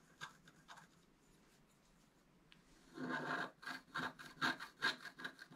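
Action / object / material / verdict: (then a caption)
scrape / wax-coated scratch-art paper card scratched with a wooden stylus / waxed paper / none. A wooden stylus scratches a flat black wax-coated scratch-art paper card, held down by one hand, near the tail of the right-hand squirrel drawn on it. Two faint, brief scratches come first, then after a quiet pause a run of louder, rhythmic rasping strokes follows, each a dry, bright scrape with a slight midrange tone.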